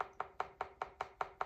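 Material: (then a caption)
Clay. A trimmed leather-hard clay bowl is tapped seven times in a steady rhythm to check that its wall is thin enough to stop trimming. Each tap is a short, dry knock centered around 750 Hz that dies away almost at once. The sound is judged right, so the bowl is trimmed to the correct thickness.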